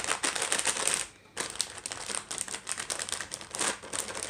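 Long nails rapidly tap and scratch a small, full, sealed plastic package of dry La Moderna shell pasta lying flat on a wooden tray, while fingers press it. The result is a dense run of bright, crinkly taps and rustles that pause briefly just after the first second, then continue.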